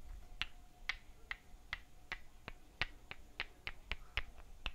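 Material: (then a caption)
Terracotta. Two tiny hollow fired-clay terracotta bricks with holes, a few centimeters in size, are held in the hands and knocked against each other 13 times at a steady, slightly uneven pace. Each knock is a short, bright, dry click that dies away almost instantly, heard over a quiet low rumble and a faint steady hum.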